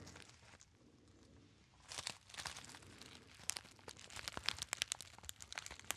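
Fingertips crinkle and fold a small gold metallized foil pouch, hollow and apparently empty. A soft, quiet rustle opens the clip, then bursts of bright, crisp crinkling build into a rapid run of sharp, high crackles and snaps.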